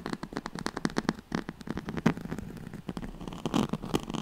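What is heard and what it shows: Long nails scratch quickly along the ribbed weave of a yellow-gold striped, woven oval pad, a straw-like fabric mat held close to the mic. The result is a rapid, uneven run of dry, raspy scrapes and crackles with short bursts and a warm low-mid body.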